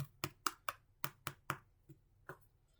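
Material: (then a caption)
Bread crust. A freshly baked loaf of bread, just out of the oven about five minutes before the timer, is tapped on its bottom with seven sharp knocks and a couple of fainter ones. Each tap is short and dry, with a hollow midrange tone. The hollow sound shows the bread is baked through.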